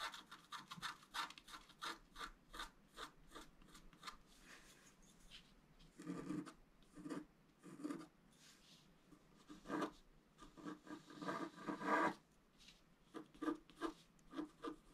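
A wooden stylus scratches the coating of a black-coated scratch-art paper card near the lower left basin, with a hand holding the card flat. A fast run of short, dry scratching strokes is followed by longer, louder rasping scrapes and then more quick strokes. The strokes are papery and bright with little low end, and each stops almost at once.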